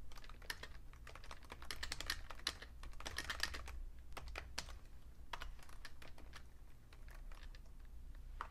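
Fingertips type on a vintage beige Fujitsu Siemens full-size plastic keyboard with a hollow case. Quick, dry, bright key taps clatter in a steady stream, sometimes bunching into faster runs, over a constant low hum.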